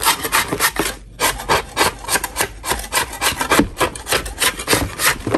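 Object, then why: Chalk block scraped with a metal spatula. A solid lump of natural chalk, held in a gloved hand, is scraped with a metal spatula. It makes a quick, fairly steady series of dry, gritty rasping strokes with bright, broadband texture and little low end, pausing briefly about a second in.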